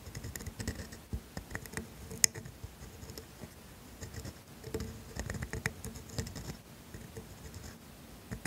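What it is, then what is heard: Steel dip pen nib scratching on grid paper. A steel calligraphy dip pen nib, held in a hand with long nails, scratches across thin grid paper on a desk as it writes cursive words. Quiet, dry, bright scratching strokes come in short bursts with brief pauses, and one sharp tick stands out partway through. Nothing rings on after each stroke.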